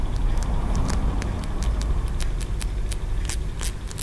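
Fingertips and nails scratch and tap the ridged tiers of a small, solid green aventurine stone pagoda figurine, a feng shui ornament, held close to the microphone. Quick, bright clicks and scrapes come in an irregular series over a steady low rumble that dominates the sound.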